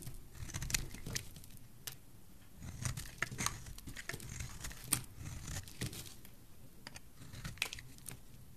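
A solid, rectangular, pale green bar of dry soap is held in the fingers and shaved with a metal blade. Crisp, bright scraping and crackling cuts come in quick bursts, with sharp ticks over a soft low rumble throughout.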